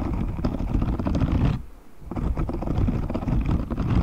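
A grey, hand-sized silicone cleaning glove with dense, short, spiky bristles, thin and flexible, is held up away from the mic while fingertips scratch and flick across the bristles. The sound is a dense, low, rumbling crackle of rapid scratching that pauses briefly in the middle before resuming.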